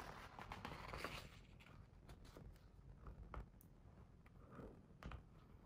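A fingertip traces and taps along the printed paper page of an open, large hardcover picture book showing an illustrated spread. Quiet, soft papery scratching and swishing is broken by a few light, dull taps over a low background rumble.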